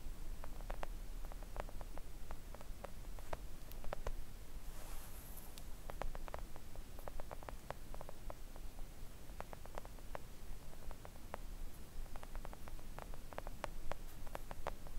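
Long acrylic nail tips gently tap a flat pink silicone nail art mat lying on a table, making a steady stream of soft, short, dull ticks. A constant low hum sits underneath, with a brief bright hiss around the five-second mark.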